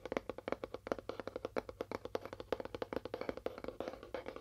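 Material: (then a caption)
Cardboard. Fast tapping on a cardboard box with a faux wood finish: a rapid run of short, dry taps with a hollow tone around 530 Hz. The taps land unevenly in quick bursts, and each dies away almost instantly.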